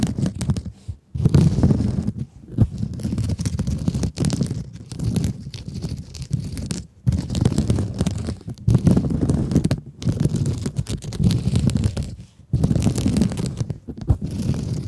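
Long acrylic nails scratch and squeeze a soft, hand-sized blue sponge with a glittery woven mesh cover. The result is a steady stream of dense, muffled, low scratchy rustling and crunching in bursts, broken by brief quiet pauses, with almost no bright high end.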